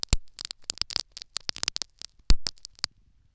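Syringe needles jab and scratch a foam sponge plug set in the canal of a silicone ear microphone. The result is a rapid, uneven crackling patter of short, dry, bright clicks and scrapes. The bursts come in irregular clusters with brief pauses and die away almost instantly.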